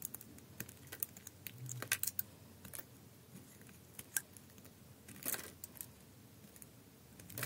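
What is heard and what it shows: A utility knife blade shaves curled slices from the surface of a solid green bar of soap held in the hand. The result is a quiet run of short, crisp scraping clicks and soft crackles with bright, airy edges. Each cut stops almost at once, with no ring.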